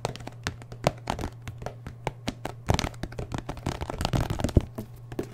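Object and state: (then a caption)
Paperboard milk carton, full. A full 1-liter paperboard milk carton with a plastic cap is held in one hand while the fingertips and nails of the other tap and scratch its side. The result is a quick, irregular run of short, dull, low thunks with dry, crackly scratching between them, over a steady low hum.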